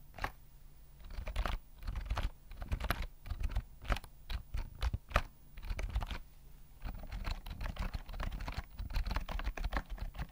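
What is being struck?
Plastic keyboard with round keys.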